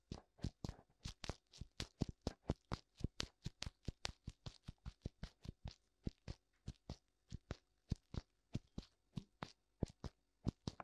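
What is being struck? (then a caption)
Silicone microphone ear. Fingertips tap both white silicone ears of a black binaural microphone in a steady, quick rhythm. The clip holds 37 short, dull thumps, mostly low in tone with a faint bright tick on top, each dying away almost instantly.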